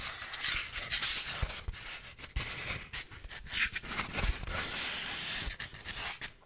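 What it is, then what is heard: Styrofoam block. A hand-sized, solid white styrofoam block is rubbed and scratched with fingertips and nails. The sound is a dry, bright, hissing friction in uneven bursts, with occasional squeaky scrapes and soft low thumps. The strokes rise and fall over the clip before trailing off quietly at the end.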